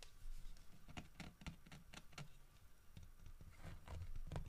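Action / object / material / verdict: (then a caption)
tap / carved wooden bear statue / wood / none. Fingernails tap and scratch the carved head and ears of a solid carved wooden bear statue. The quiet, soft patter of taps is dull and low-heavy, with short bright clicky edges that die away almost instantly.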